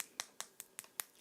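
A ruby crystal is tapped six times at a steady pace, about every 0.2 seconds, to "wake up" the crystal. Each tap is a faint, sharp, high-pitched click that dies away almost at once, with no low end.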